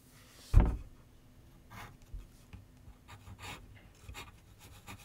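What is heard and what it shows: A pencil tip scratches sketch lines across a large white paper sheet mounted on a board with solid backing, set on a wooden easel. A sharp low thump opens the clip, then quiet, bright, breathy scratching strokes come and go over a soft background hum.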